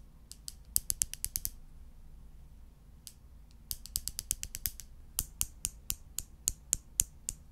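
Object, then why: Light wooden tongs. Light wooden tongs, made of two thin solid strips, are held in the fingers close to the microphone and clicked or tapped together. The result is sharp, dry, bright clicks that stop instantly, coming in quick irregular bursts with a near-silent pause in the middle, over a faint low hum.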